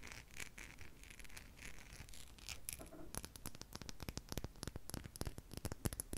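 A small, solid, clear crystal glass seahorse figurine is held in the fingers and worked over with long pink nails. Soft, hissy scratching comes first, then a quick run of sharp, dry taps with bright clicks and almost no ring.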